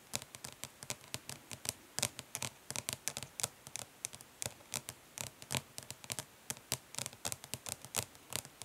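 Long nails tap quickly and gently and lightly scratch the lid of a flat, hollow plastic eyeshadow palette resting on cloth. The result is a rapid, uneven run of crisp, bright clicks that die away almost instantly, with soft scratchy rustle between taps.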